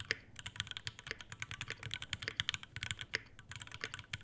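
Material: Metal, plastic.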